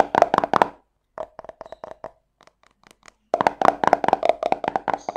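A small round yellow plastic cosmetic tub with a screw lid, held in the hand, is tapped and scratched quickly with long painted fingernails. A fast run of short, hollow plastic clicks with a steady mid tone near 690 Hz is followed by a quieter, sparser stretch of lighter taps, then another long burst of rapid taps, about twenty hits in all, each dying away almost instantly.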